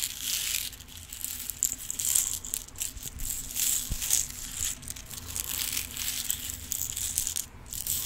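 A long clear plastic compartment organizer box filled with small rhinestones is held in the hands, shaken so the stones rattle, and tapped with long pink nails. The result is a continuous bright, high-pitched clatter of tiny stones, with quick plastic clicks that die away almost instantly and very little low end.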